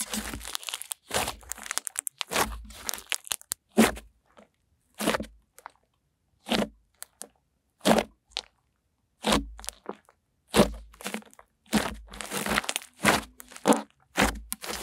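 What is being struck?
Butter slime pressed and poked with fingers.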